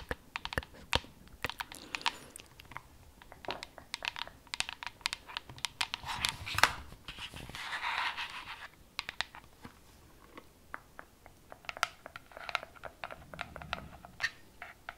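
Long nails tap and scratch the top and sides of a hollow, glowing, frosted plastic cylindrical LED night lamp. Quick, dry, bright clicks come in irregular bursts like typing, with a longer rough scratching passage in the middle.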